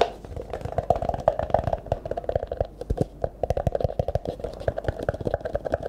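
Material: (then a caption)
Plastic. An empty, hollow, disposable clear plastic cup is held in both hands and tapped and scratched with the fingertips, then turned sideways at the end. Fast, dry taps with almost no ring sound over a hollow resonance near 640 Hz. Soft scratching fills the gaps between them.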